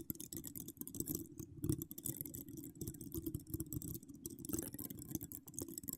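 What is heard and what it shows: All ten long acrylic nails, decorated with donut charms, scratch across a hollow metal wire-mesh microphone grille. The sound is a dense, continuous run of close, crackly scratches and quick clicks, with a heavy low rumble and bright edges, plus a few louder bursts.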